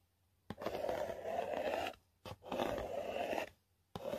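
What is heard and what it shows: A long nail scrapes and scratches the flat printed face of a yellow Walmart selfie stick cardboard box. Long, dry, rasping passes with a midrange tone near 660 Hz are separated by brief silences, and the last one is cut off at the end.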